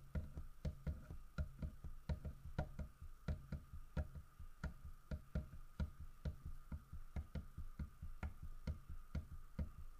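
Fingertips and nails tap on a large, solid carved wooden bear figurine, near the fish it holds and along the bear's side. About 25 short, dull, low knocks land in a quick, uneven rhythm, each with a faint clicky edge, over a steady quiet hum.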